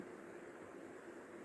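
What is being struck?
Nothing is struck.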